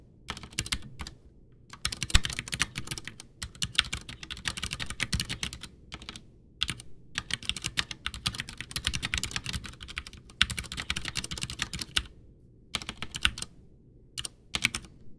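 A full-size white plastic Ducky One 2 mechanical keyboard with Cherry MX Brown switches, backlit, with a hollow case, sits on a desk while both hands type with fingertips, pressing and tapping keys. Bursts of rapid, bright clicking and clacking keystrokes with a hollow low thump are broken by several short pauses over about 15 seconds.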